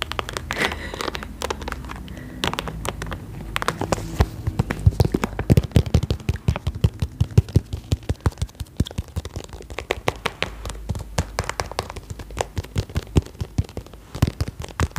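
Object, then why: Quilted vinyl cosmetic bag. Long acrylic nails tap quickly on the textured plastic surface of an iridescent, quilted holographic vinyl cosmetic bag held upright. Rapid, dense, sharp clicks and crinkly plastic taps run throughout, some louder than others, over a soft low background.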